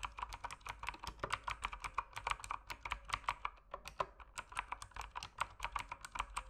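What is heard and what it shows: Fingertips press the plastic keycaps of a dim mechanical keyboard in continuous typing, with about 39 short, clicky keystrokes centered around 1.1 kHz and reaching bright highs. Each click dies away almost instantly over a faint steady low hum.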